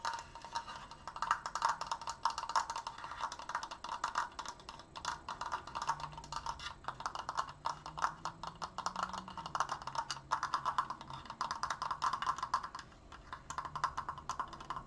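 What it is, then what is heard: Wooden triangular frame. Fingertips and nails tap fast on the inner slats of a large, open, triangular wooden triforce frame tilted against the shoulder. A dense, continuous stream of short, dry wooden clicks centers around 1 kHz with little low end, and each tap dies away almost instantly.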